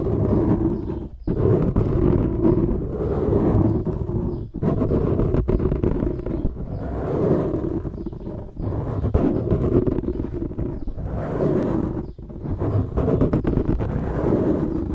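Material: Foam.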